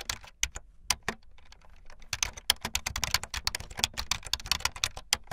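Fast typing on a full-size backlit plastic Bluetooth membrane keyboard with white and blue plastic keycaps and a hollow plastic body, its keys pressed with fingertips and the tips of long painted nails. Bright, dry, clacky taps with no ring start out sparse, then become a dense, rapid run of keystrokes from about two seconds on.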